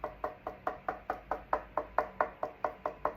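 A wooden guitar neck is knocked 15 times in a steady series of short, dry taps with a mid-range knock tone and almost no ring. No rattle follows the knocks, showing the truss rod is not loose.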